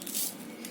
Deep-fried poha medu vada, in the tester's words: हे बघ आवाज येतो ... आतून अशी पोकळ झाले